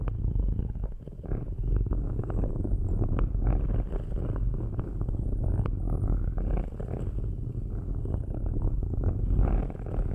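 Two metal-tipped sticks scratch and rub the metal grille tops of cylindrical microphones, making a steady, low, rumbling scrape full of dense, rapid ticks. The sound is deep and boomy, like a purr, and holds a fairly even level throughout.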